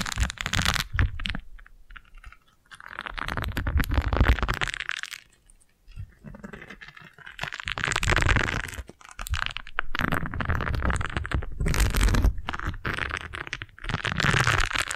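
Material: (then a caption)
Silicone. A single yellow silicone scrub pad is held in one hand while long nails of the other hand scratch and flick its bristles. Dense, dry crackling and scratching comes in several bursts separated by short quiet gaps, with bright ticks over a low, close rumble.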